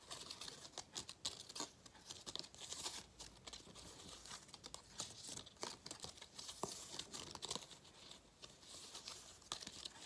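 A gold foil cardboard galette crown with cut-outs is bent and crinkled between the fingers while nails scratch the foil surface. The result is dense, bright crackling and scratching that comes in quick bursts over the full stretch, with little low end.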